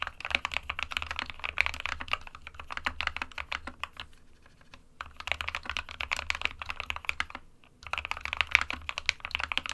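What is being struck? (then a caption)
Plastic mechanical keyboard. Fingertips of both hands type continuously on an SK61, a small 60% white plastic-cased mechanical keyboard with plastic keycaps resting on a desk mat. The result is a rapid stream of sharp, bright plastic clicks and clacks with a faint low hum underneath. Typing briefly quiets around the 4–5 second mark and again just before 8 seconds, then resumes.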